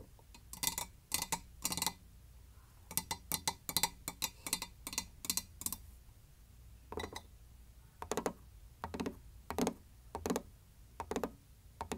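Fingertips and long nails tap the body of a medium white hexagonal ceramic canister, hollow and lying on its side with a light wooden lid attached. The taps come as quick, bright, clicky bursts in rapid clusters separated by short pauses, each dying away almost instantly with a faint low hum underneath.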